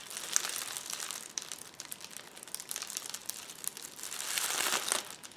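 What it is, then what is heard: Plastic bubble wrap roll. A roll of clear plastic bubble wrap on a table is rubbed and scratched with the fingertips and nails of both hands. A steady, bright crinkling and crackling runs throughout with sharp little ticks and no low end, swelling into a louder, denser rustle near the end before it drops back.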